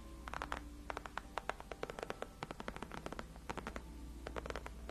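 Long acrylic nails on both hands scratch and tap the upper part of a large, cushioned white padded faux leather gaming chair backrest. About thirty quick, dry scratches and clicks come in uneven bursts, each bright and dying away almost instantly. A steady low hum sits underneath throughout.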